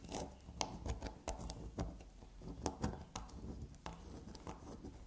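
A solid black unicorn-shaped soap bar with a scraped, shaved surface is scratched and scraped with long black nails. Quick, dry scratching strokes and sharp ticks repeat over a soft, low rustle.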